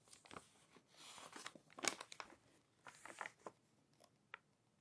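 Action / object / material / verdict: scrape / paper magazine pages / glossy paper / none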